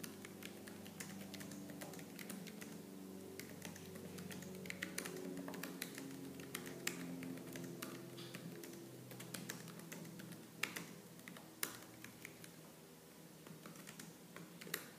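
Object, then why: Plastic laptop keyboard. Fast, aggressive typing with both hands on a laptop keyboard with black plastic keys, struck with long lavender-painted nails and fingertips. Sharp, uneven clicks and taps come in quick bursts over a low, steady tonal hum, with a few louder key strikes standing out.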